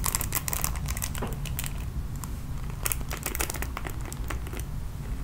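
Long nails rake across the bristles of a red plastic paddle hairbrush, producing a dense run of bright, crackly bristle clicks and scratches. The strokes come in quick flurries over a steady low rumble that continues throughout.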